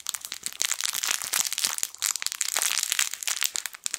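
A yellow, sun-shaped plush fabric crinkle toy with crinkle film inside is squeezed and rubbed with the fingertips of both hands. It makes dense, bright crinkling and crackling with almost no low end, in quick overlapping bursts that fade within a fraction of a second.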